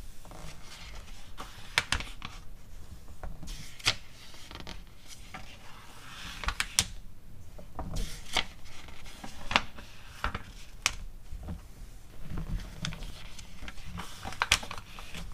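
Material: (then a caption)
Glossy paper. Hands with long teal acrylic nails turn and flip the pages of an open glossy paper cosmetics catalog lying on a fur rug, sliding over the paper between turns. Soft, papery rustling and rubbing runs throughout, broken by sharp, bright crackles and snaps as the pages flip. Each snap dies away almost instantly.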